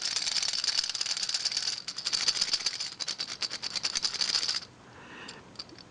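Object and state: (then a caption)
Toy train engine with loose plastic bogies rattling against wood. A Fisher-Price Wooden Railway Gordon toy engine is shaken, its plastic bogies clattering against the wooden body in a bright, rapid rattle, with a brief pause near two seconds before the shaking resumes. The rattling stops around 4.6 seconds, leaving only faint ticks. It sounds different from the older model because the bogies are plastic, like plastic hitting wood.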